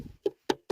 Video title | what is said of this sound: The First Video | play a drum on the back because it's hollow